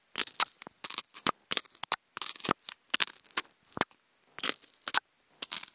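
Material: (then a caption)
Polystyrene foam. Wooden toothpicks scratch a hollow, octagonal white polystyrene foam food container. The result is a run of short, bright, squeaky scrapes and crackly rasps with a high whine on top, separated by brief silences, with almost no low end.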